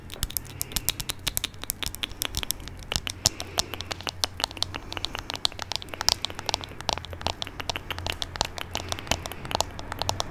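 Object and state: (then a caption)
Glass perfume bottle. Long nails tap and scratch a small amber glass perfume bottle with a dark cap, held just above the microphone. A dense, steady stream of quick, bright clicks and ticks with short scratchy bursts plays over a faint low hum, each tap dying away almost instantly.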